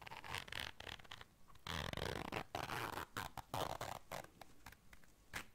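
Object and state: Fabric zipper case being zipped and scratched.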